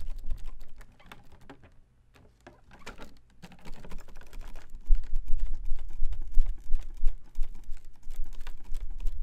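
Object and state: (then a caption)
Plastic folding fan. A folding fan with white plastic ribs and a printed, pleated fabric leaf is held open and waved, then snapped open and shut with one hand. Light rustling clicks give way to a brief near-silence and soft swishes, then a denser run of sharp, rapid plastic clacks that sound much like fast typing.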